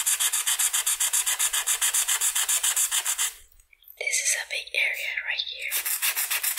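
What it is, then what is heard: Marker coloring on paper. A red felt-tip marker colors a flat white paper sheet with rapid back-and-forth strokes, producing a steady, bright scratchy rasp that pulses with each stroke. After about three seconds the strokes stop briefly, then return as a few slower, uneven squeaky drags before the fast rhythmic scratching resumes.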